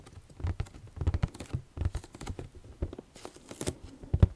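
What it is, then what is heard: Cardboard puzzle box tapped with nails. A flat rectangular cardboard box holding a Harry Potter house crests jigsaw puzzle, presumably full of pieces, is held up in one hand and tapped and scratched with long dark-painted nails. The result is an uneven patter of quick, dull, low taps with soft scratching, dry and without ring.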